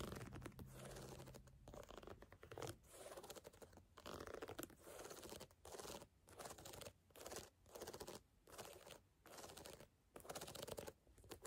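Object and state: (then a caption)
Canvas sneaker. Fingers tap and scratch on a canvas sneaker in short, repeated bursts of dry, rustling scratching separated by brief pauses. The sound is quiet and close, with most of its energy in the midrange and a faint low hum under the first few seconds.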